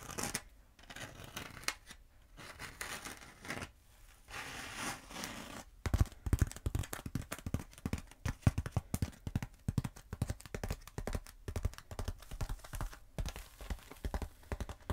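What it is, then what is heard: Foam pool noodle tapped and scratched with nails. Long acrylic nails scratch and tap along the surface of a long, black, hollow foam pool noodle held diagonally. The first six seconds are soft, breathy scratching swishes. Then comes a dense run of quick, dull, low tapping thuds with bright clicky edges that die away almost instantly.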